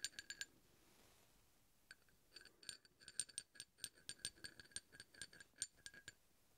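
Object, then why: Steel hex bolt and steel drill bit. A steel drill bit taps and scrapes along the threads of a large solid steel hex bolt. A quick burst of four bright metallic clinks is followed by a pause, then a long run of rapid, short, high-pitched taps and light scrapes. Each hit dies away almost instantly, with very little low-end body.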